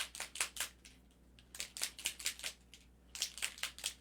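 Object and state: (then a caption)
Alcohol ink bottle with a loose mixing ball. A plastic bottle of metallic pearl alcohol ink is shaken to free its little mixing ball, stuck at first because the pigment had settled at the bottom, and to mix the pearl color all the way through. The freed ball rattles inside in quick, bright clicking bursts with short pauses between shakes. Shaking goes on until no sediment is left at the bottom.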